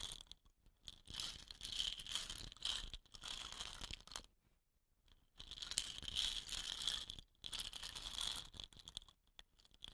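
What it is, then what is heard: Painted wooden rain stick. Fingertips and long nails tap and scratch the painted tube of a hollow, dot-painted wooden rain stick resting on dark cloth. Bright, crisp scratching and clicking come in dense bursts centred near 3 kHz, with little low end. The bursts are separated by short near-silent pauses.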